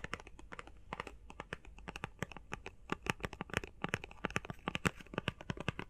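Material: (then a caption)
Cardboard, plastic. Fast tapping on a face mask box made of plastic and cardboard gives a rapid, irregular stream of short, dry clicks and taps. Each tap dies away almost instantly, with faint crinkly overtones reaching high into the bright range.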